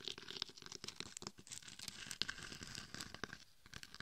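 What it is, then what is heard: Glitter-coated mannequin head. Long red and gold nails scratch and tap across the face and sides of a gold and red glitter-coated mannequin head, a hard-shelled binaural microphone. A dense stream of bright, crackly scratches is punctuated by short, sharp taps that die away almost instantly, with most of the energy high in pitch.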